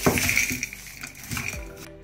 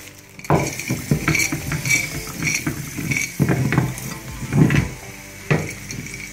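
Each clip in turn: First: Bright clinks and a metallic rattle as hard dry ice chunks knock around loose inside a steel tank. Second: Rocking a steel tank gives a low wet slosh with dull knocks of solid chunks inside.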